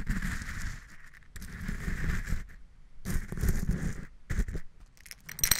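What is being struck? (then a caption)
Coarse rock salt crystals in a glass cup. A pink plastic spatula pokes, stirs and scrapes through coarse pink Himalayan rock salt crystals in a small clear glass cup. Gritty, crackling scraping comes in bursts separated by short pauses, with a low rumble underneath and a bright hiss on top.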